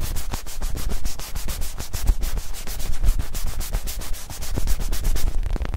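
A small, palm-sized black-and-white soccer ball, probably soft foam or synthetic leather, is held in both hands and rubbed and scratched with the fingertips close to the microphones. The result is a steady stream of quick, dry rubbing and scratching strokes with a deep, soft low-end rumble and brief bright edges on each stroke.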